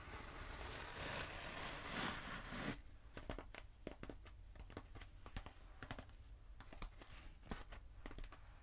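Long acrylic nails scratch a long black textured closed-cell foam roller held diagonally, making a steady, dense rasp for almost three seconds. Then they tap it in a quick, uneven run of short, dry clicks with little ring.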